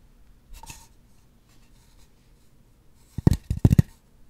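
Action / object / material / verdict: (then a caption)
scrape / styrofoam mannequin head / styrofoam / none. Long nails make slow scratches across the surface of a white styrofoam mannequin head. A soft, faint scrape comes first, then a pause, then a cluster of louder, dry, rasping scratches with a low, thumpy body and brief bright edges that stop abruptly with no ring.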